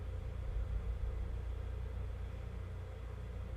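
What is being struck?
Nothing is struck.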